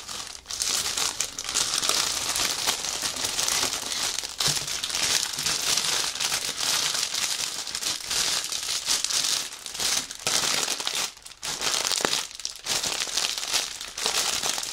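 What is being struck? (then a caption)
Plastic bag wrapping soft fabric. Fingertips grip the edges of a clear plastic bag holding white fabric on a table and press down on it, crinkling the plastic. A dense, bright, steady crackle fills the clip, with only brief dips near the start and around eleven and twelve and a half seconds.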